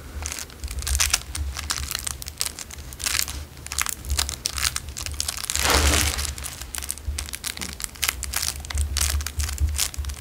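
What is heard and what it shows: A narrow clear cellophane wrapper is squeezed and crinkled between fingers and thumbs, giving a steady stream of dense, bright crackles over a low, steady hum. The crinkling swells and fades in bursts, peaking in a louder, fuller crunch around the middle, and each crackle stops dead with no ring.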